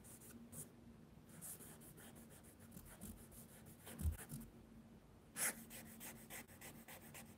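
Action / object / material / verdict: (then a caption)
scrape / charcoal-covered paper sketchbook sheet on a wooden desk / paper / none. Fingertips rub and smudge charcoal across a large sheet of mixed media paper in a spiral sketchbook lying flat on a wooden desk. Soft, dry swishing strokes with a faint bright hiss repeat irregularly over a steady low hum. Two louder, fuller rubs stand out near the middle and later in the clip.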